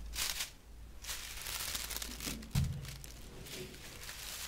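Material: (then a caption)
Straw. A large bundle of natural straw broom bristles, tied with blue string and tape, is held close and rubbed and scratched with fingertips and long nails. Dry, bright crinkling rustles come in bursts, with a soft low thump partway through.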